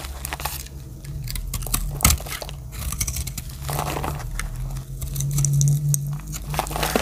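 A metal utility-knife blade carves dry chips off the same blue and white striped solid soap bar, giving a run of crisp scraping crunches. The cuts are closely spaced and irregular, with bright, dry edges over a low, steady rumble.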